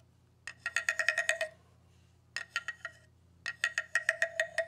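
A hollow bamboo tube with a ridged, slatted section, held in hands with long red nails, is struck and scraped with a round-headed wooden stick mallet. It gives 21 quick, dry, hollow clicks in three bursts, each with a woody tone near 1.9 kHz, a lower tone around 650 Hz, and bright edges that stop almost at once.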